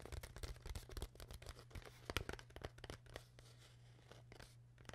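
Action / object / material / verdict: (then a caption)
tap / thin plastic water bottle / plastic / none. Long nails tap and scratch the sides of an empty, hollow, clear PET plastic water bottle with a white cap. The result is quick, irregular, crinkly clicks and scrapes over a steady low hum. They are busiest and loudest in the first half, then thin out into softer scratching.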